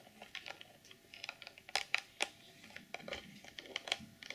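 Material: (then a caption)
Plastic. Long nails tap and click on the top edge and front face of a clear plastic packaging box. The result is a quiet, irregular run of short, dry, bright clicks with almost no low end, each dying away almost instantly, with a few sharper, louder taps among softer ones.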